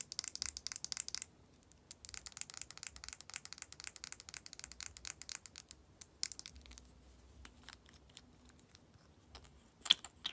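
Long nails tap and scratch along the cap and body of a slim, hollow, matte red plastic lip gloss tube held in both hands. Quiet, rapid, bright clicks and scratchy rasps come in dense bursts with almost no ring, pausing briefly early on. A few sharper, louder clicks land near the end.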